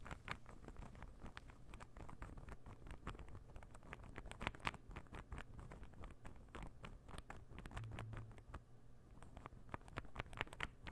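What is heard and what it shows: A palm-sized, light-wood interlocking puzzle ball is held beside the microphone and tapped and scratched with fingernails. Rapid, irregular clicks and brief scratchy strokes patter over a steady low rumble, each tap sharp and bright and dying away almost instantly.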